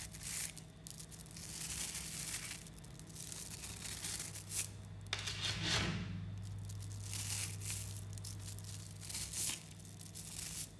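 A large clump of about 11,000 tiny 3 mm coated neodymium magnetic balls is held in both hands while fingertips squeeze, knead and pull the strands apart. The balls click and snap back together in a dense, continuous crackle of bright, crisp ticks, with a few louder snaps standing out. A steady low hum runs underneath throughout.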